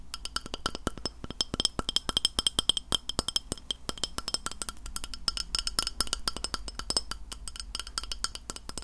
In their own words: 03:23 Tapping a Glass Plate